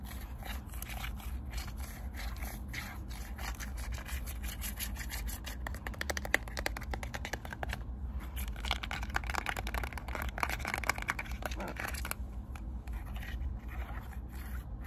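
Long nails tap and press the colorful rubber buttons of a small, flat, hollow plastic IR remote control held in one hand. The result is a quiet stream of rapid, dry clicks and light scraping over a steady low hum, with the tapping thickening into quick bursts in the middle.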